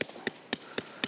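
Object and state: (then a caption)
Unripe melon. Knuckle taps on an unripe melon that may be green and wilted give five short, bright, ringing knocks with almost no low thud. The ringing marks it as still green, not ripe; its stem was twisted, so it could not ripen naturally and began to wilt in the sun.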